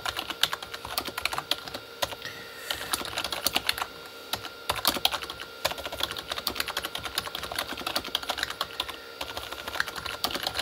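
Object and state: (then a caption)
Plastic membrane computer keyboard. Both hands type fast with their fingertips on a Corsair K35 plastic membrane keyboard with red backlit keys. A dense, steady stream of quick, bright plastic taps and clacks follows, each dying away almost instantly, with short pauses in between.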